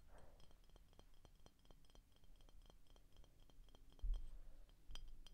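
Short painted fingernails tap rapidly and lightly on the glass neck and shoulder of an empty, hollow clear glass Frostie root beer bottle with a paper label. The taps are quiet, sharp clicks with a brief bright glassy tick that dies away almost at once. Low, dull thumps come in near the end.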